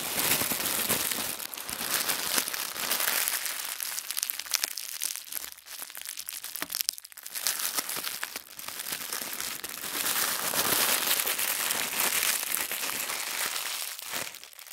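Bare hands press, rub and squeeze a sheet of thin white tissue wrapping paper that has been folded and rolled into a soft bundle. The result is a dense, continuous, bright crinkling and rustling with almost no low end. It briefly quiets around the middle of the clip and again near the end.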